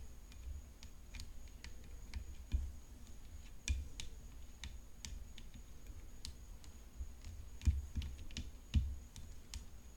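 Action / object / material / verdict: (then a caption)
tap / composite tennis racket frame / composite / none. Long nails tap a hollow composite tennis racket frame decorated with rhinestones while the racket lies on black cloth. The result is a run of quick, dry, bright clicks with almost no ring, a few louder taps standing out, over a low rumbling hum and a faint steady high tone.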